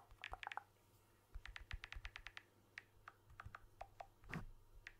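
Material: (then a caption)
Glass. A blue smartphone with a glass back and aluminium frame is held in one hand while fingertips tap its back and frame, ending with close-up tapping. About twenty quick, dry taps come in clusters, each a short clicky knock with a bright edge and almost no ring. A louder, fuller tap near the end stands out.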